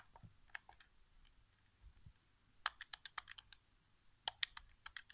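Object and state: Plastic game controller buttons tapped.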